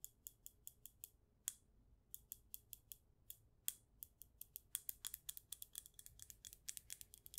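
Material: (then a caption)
Glass. Long acrylic nails tap along the side and base of a clear glass jar candle filled with white wax. A rapid, irregular series of sharp, bright clicks is heard, with almost no low end, each one dying away instantly. The taps start spaced apart and become denser and quicker toward the end.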